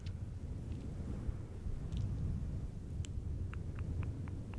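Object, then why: Synthetic fur microphone windscreen. Fingertips of both hands rub and scratch a fluffy synthetic faux fur windscreen on a silver microphone. A dense, steady low rumble fills the sound, with faint, short, bright scratchy ticks flicking above it toward the end.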